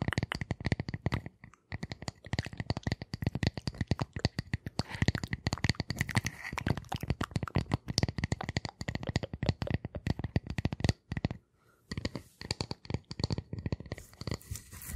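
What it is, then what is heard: Round wooden disc tapped and scratched with nails. Long nails scratch and tap a flat, solid, light round wooden disc held close to the microphones. Rapid, dry taps with a low, hollow thud blend with brighter scratching, each hit dying away almost instantly. The rhythm pauses briefly twice before picking up again.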